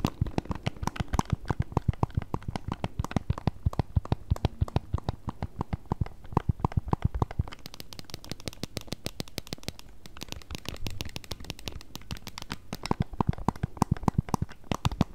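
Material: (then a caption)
Plastic. Long acrylic nails rapidly tap and scratch along the plastic edges and vents of a solid pink plastic-cased handheld game console. The result is a dense stream of short, dry clicks with a low, hollow body, shifting midway into brighter, scratchier taps.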